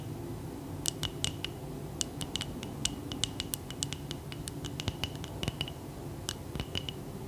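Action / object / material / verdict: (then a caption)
tap / wax-filled glass candle jar / glass / none. Long acrylic nails tap and scratch the sides of a medium frosted glass jar candle, filled with wax and lit, held in both hands. Quick, sharp clicks ring briefly with a bright, glassy tone near 3 kHz, mixed with soft scratching over a low, steady background hum.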